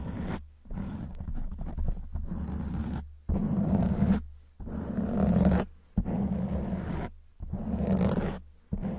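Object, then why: Foam microphone windscreen. Long white nails scratch a black foam windscreen on a silver microphone, making close, rough scratching strokes. The strokes come in repeated bursts separated by short silences, with a heavy low rumble that sounds almost like a roar.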